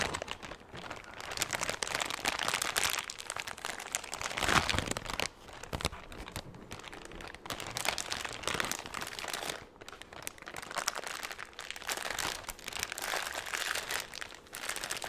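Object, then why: Thin clear plastic bag. A large, empty, thin clear plastic bag is crumpled and crinkled with the fingers. It makes a dense, continuous, bright crackling rustle that swells and eases in waves, with very little low end.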